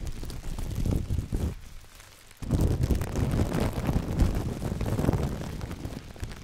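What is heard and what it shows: A large, thin, empty clear plastic bag is crumpled and squeezed in black-gloved hands close to the microphone, giving a dense, rustling crinkle with heavy low, rumbling handling noise. The crinkling briefly drops to a quieter lull just before the midpoint, then returns louder and continues steadily to the end.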